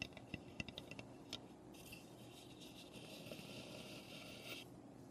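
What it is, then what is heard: Unfinished wooden birdhouse. Long nails tap and scratch the roof and front of a small, hollow, unfinished raw pine wooden birdhouse. Quick, dry taps with a faint hollow knock come first, then a steady, bright scratching rasp runs through most of the clip before fading back to light taps.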